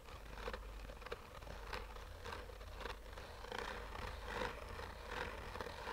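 Short fingernails slowly scratch a black, oval, textured fabric-covered hard-shell sunglasses case with a hollow, rigid shell. Soft, irregular rasping strokes rise and fade over a steady low rumble, giving a quiet, scratchy texture throughout.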